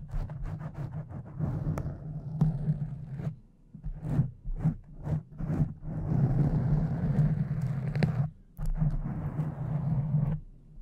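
Long decorated fake nails on both hands slowly scratch a pink foam windscreen over a condenser microphone. The result is a dense, muffled, low rumbling scrape with a steady low hum, in sustained bursts broken by brief near-silent pauses, with almost nothing bright on top.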